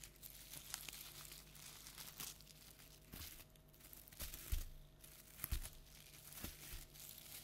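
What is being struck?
Tinsel pipe-cleaner toy spider.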